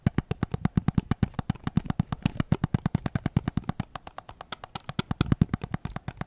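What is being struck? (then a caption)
Plastic game controller. Fingertips and nails tap rapidly on the grip of a white PS5 controller made of hollow plastic, held sideways. It makes a quick, steady run of about 54 short, dry taps, each a low hollow thud with a faint bright click on top. The taps die out almost instantly, with no ring between them.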